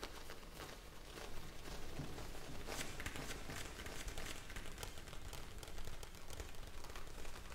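A hand-sized clear plastic bag full of small blue gel beads rests on a palm and is tapped and scratched with long nails. The result is a continuous soft crinkling and crackling with quick taps over a low, muffled rumble, with brief bright crackles throughout.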